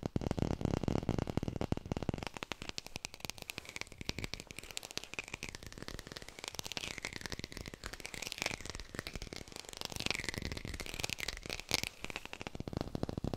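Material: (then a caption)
Plastic. Fingers fast-tap on a textured artificial plastic lemon, picked up by a hi-fi mic. The result is a dense, crackly stream of short dry clicks and rattles with low thumps. A faint wavering tone sits around 2 kHz beneath the tapping.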